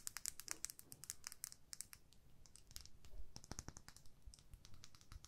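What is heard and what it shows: Long fingernails tap and scratch along a small, hollow, clear plastic lip gloss tube with pink product and a purple cap, held in the fingertips. Quick, sharp, bright clicks come in uneven bursts with light scratchy friction between them. The taps are quiet and end almost instantly, over a faint low background rumble.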